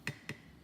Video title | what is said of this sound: How To Tell If Your Seal Is Bad On Home Canned Food | the lid just tap it okay you can hear that high-pitch